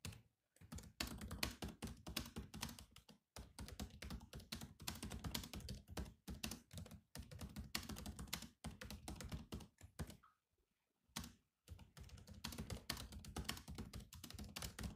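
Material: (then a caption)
Plastic. Fingertips type steadily on the black plastic keys of a grey laptop, making a dense run of short, dry, clicky taps with a bright edge and a soft low thump under each press. The typing stops briefly near the start and again for about a second toward the end, then picks back up.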